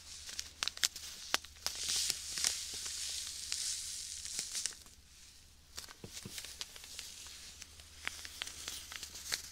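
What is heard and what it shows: Fingertips knead and rub a clear plastic bag full of white sand right beside the microphone. Bright, gritty crinkling and sandy hiss are punctuated by irregular sharp crackles and snaps. The sound eases into a quieter stretch around the middle before the crackling picks up again, with a faint low hum underneath throughout.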